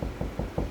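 Four evenly spaced knocks on a drywall wall over a wooden stud give short, dull thuds. The solid sound at the stud contrasts with the hollow sound of the wall between studs.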